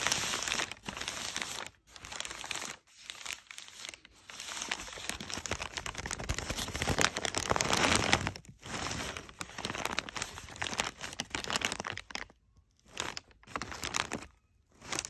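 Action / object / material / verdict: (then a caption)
scrape / kraft packing paper / paper / none. Fingertips rub and claw at the creased folds of crumpled brown kraft packing paper resting on a couch, making dense, bright crinkling and crackling. The rustling runs in busy bursts broken by a few short silences, fading to quieter scratches near the end.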